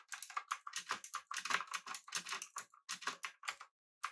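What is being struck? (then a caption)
Mechanical keyboard, aluminum case, round plastic keycaps. Both hands type continuously with their fingertips on a pink-backlit mechanical keyboard with an aluminum body and round plastic keycaps. The result is a rapid, uneven stream of short, bright, clacky keystrokes with no low-end thump, and each one dies away almost at once. A brief pause comes before a final keystroke at the end.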